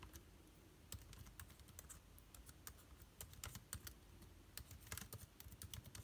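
Fingertips type on the plastic keycaps of an aluminium-bodied laptop keyboard. A quick, irregular run of short, dry clicks with bright edges sits over a steady low hum, each keystroke dying away almost at once.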